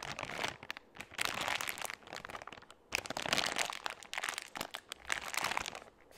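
A soft, flexible plastic baby-wipes pouch, partly full, is held close to the microphone and crinkled and rubbed with the fingertips. Bright, crackly crinkling comes in uneven bursts with short quiet gaps and almost no low end.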